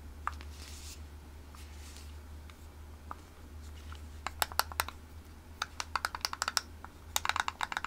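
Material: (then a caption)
Plastic. Long manicured nails tap and scratch along the hollow plastic headband and white ear cups of pink over-ear headphones held up close to a microphone. Soft, faint scratching in the first half gives way to sharp, bright plastic clicks that come in quick clusters, over a steady low hum.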